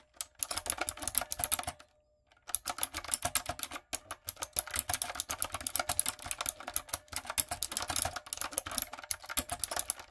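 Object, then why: Plastic mechanical keyboard with round keycaps. A typewriter-style plastic mechanical keyboard with round plastic keycaps is typed on with fingertips and long acrylic nails, giving rapid, bright clicky keystrokes in dense bursts. The typing pauses briefly near two seconds, then resumes in steady runs with short gaps, each click crisp and dry with almost no ring.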